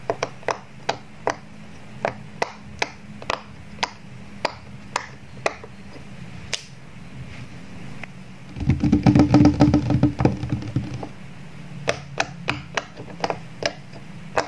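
A fingertip pops the hollow bubbles along the bottom rows of a square rainbow silicone pop-it toy, giving a string of short, dry clicks over a low background hum. Around the middle, a louder, denser burst of pops and rustling crowds together with a low tone, then the separate clicks resume.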